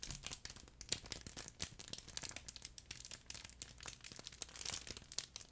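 A flat, soft, yellow furry plush chicken pet toy, made of fabric with a crinkle film layer inside, is held next to the microphone and crumpled and rubbed with fingers. It gives a steady stream of bright, crackly crinkling with many sharp little bursts over a soft rustle, with very little low end.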